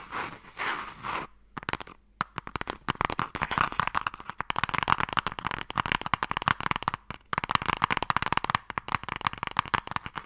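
Fingertips and nails tap and scratch on the side of a hollow wooden box printed with MIKADO. A soft brushing scratch opens the clip, followed by a dense run of quick, dry, short-lived taps and scrapes with a hollow woody tone centered around 1 kHz.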